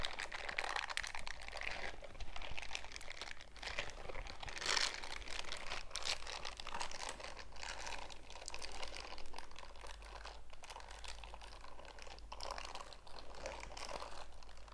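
Worn purple silicone scrubber gloves with bristle pads are gripped, squeezed and rubbed together, the fingers sliding over the bristle areas. Soft, dense crinkling and crunchy scratching rises and falls continuously over a steady low hum.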